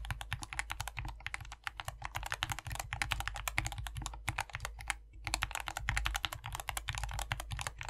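Two hands type continuously with their fingertips on a modded compact 60% mechanical keyboard with a foam-filled white plastic case and green, white and pink PBT keycaps. The result is a fast, steady stream of short, dry clacks with bright tops over a low thump, with brief pauses near the middle.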